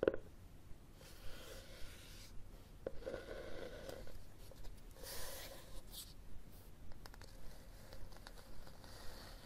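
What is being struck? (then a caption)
Cloth-covered hardcover book. Fingernails scratch and tap the cover and spine of a red cloth-covered hardcover book held horizontally, and then the book is raised. Soft, dry scratching runs throughout, broken by quiet, short taps at irregular intervals. The sound is low and muffled, with a faint midrange tone near 500 Hz.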